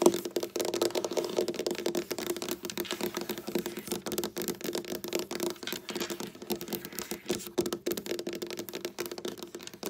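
Long black nails tap, click and knock on a large, solid dark wood tabletop, using both fingertips and nail tips on the same table throughout. The result is a dense, steady stream of quick, dry clicks and soft knocks with a faint low-mid ring, continuing evenly for about ten seconds.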